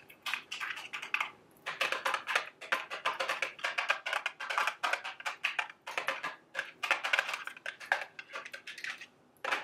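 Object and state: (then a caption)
Cardboard candy box. A small, hollow, printed cardboard candy box shaped like a milk carton is held up in the hand and tapped rapidly with long, sharp acrylic nails. Quick, dry, bright clicks come in dense bursts with brief pauses and die away almost instantly, with no low-end body.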